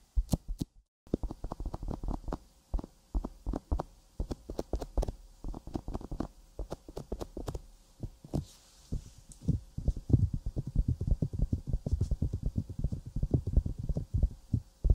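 Fingertips and long nails tap and scratch around the silicone ear of a 3Dio binaural microphone. The result is a dense stream of rapid, dull, low thumps with short crackly scratches and faint bright clicks, with a brief pause near the start and the tapping growing busier and louder toward the end.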